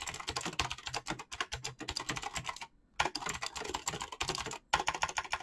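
Fast fingertip typing on a black mechanical keyboard with clicky switches and PBT plastic keycaps produces a dense stream of sharp, bright clicks. There are brief pauses near the middle and toward the end before the rapid keystrokes resume.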